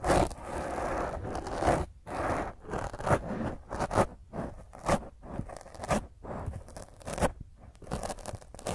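Fingernails scratch the top of a black foam microphone windscreen in rough, repeated strokes. Each stroke is a close, crunchy scrape with a strong midrange, separated by brief quiet gaps.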